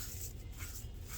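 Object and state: Nothing is struck.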